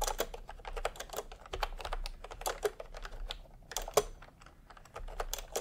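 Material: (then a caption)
Plastic. Bare fingertips of both hands type quickly on a full-size pastel plastic retro keyboard with round plastic typewriter-style keycaps, resting on white fabric. A dense, continuous stream of short, crisp clacks follows, each press dying away almost instantly, with a few slightly louder strikes standing out along the way.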